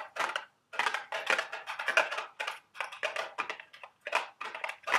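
A small cardboard candy box for Dubble Bubble gum Easter eggs is held in the hands while long red nails tap and scratch its printed sides. Quick, dry bursts of crinkly tapping and scraping come in close succession with short pauses between clusters, bright and papery with no low end and very little ring.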